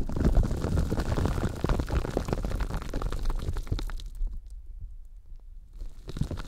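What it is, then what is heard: Foam sponge squeezed and rubbed. A hand-sized, solid yellow Scrub Daddy polymer foam sponge is squeezed, scrunched and rubbed with the fingers close to the microphones. It makes dense, low, squishy crackling and creaking, heaviest in the deep bass. The sound thins to near silence partway through, then the squeezing picks up again at the end.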